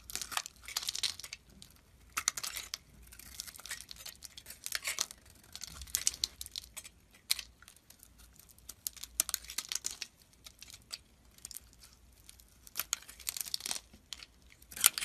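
A solid white bar of soap with a teal layer, held in the hand, has chunks cut and shaved off it with a metal utility blade. The result is a quiet run of crisp, bright, crinkly scraping and crunching bursts with almost no low end and very short decay.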